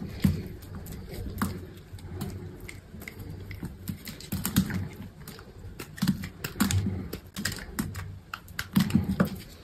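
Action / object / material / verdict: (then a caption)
scrape / bar of soap cut with a knife / soap / none. A utility knife slices and scrapes curls and pieces off a solid, partly cut green bar of soap. Short, crisp cutting clicks repeat in quick uneven bursts over a soft, low, muffled thump, each one dying away almost at once.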